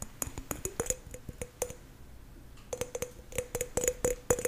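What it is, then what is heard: Green apple. A green apple held in the hands is tapped and scratched on its skin with fingernails, giving about twenty quick, crisp taps with a faint ringing tone near 490 Hz and bright clicks. The taps come in an irregular pattern, with a quieter stretch of soft scratching in the middle before the tapping resumes.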